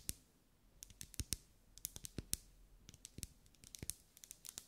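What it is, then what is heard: Wax pillar candle. Long acrylic nails tap and scratch a lit, pink, ribbed, solid wax pillar candle. About twenty-two sharp, bright clicks come in an irregular rhythm, some with a dull low thump beneath. Each dies away almost instantly over a quiet background.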